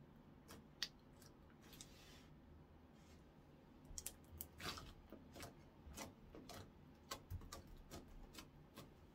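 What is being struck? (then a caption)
Clear slime on a wooden counter. Fingertips press, fold and poke a flattened, translucent orange clear slime on a wooden counter. Quiet, sticky squishes break into a series of short, bright clicks and pops over a faint low background hiss.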